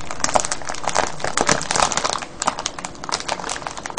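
Hands squeeze and crinkle a clear cellophane bag full of foil-wrapped candies. The result is a steady stream of bright, crackling crinkles in quick, dense bursts, with each burst snapping off sharply.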